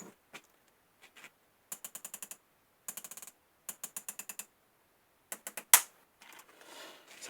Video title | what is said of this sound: Test bille d'acier sur les aciers trempé (étau aliexpress) | Dès que l'acier est aussi dur que la bille, on va dire, pour ainsi dire, hein, ben, tic, tic, tic, tic, tic